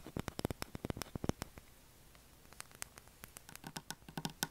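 Fingernails scratch a solid light-blue bar of soap with a roughened, carved surface, making chunks crumble off. The result is quick, dry, crisp clicks and crumbly scratches with almost no ring: a dense flurry, a brief quiet pause, then another run of sharp, bright snaps.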